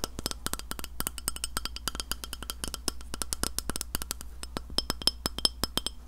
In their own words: 03:23 Tapping a Glass Plate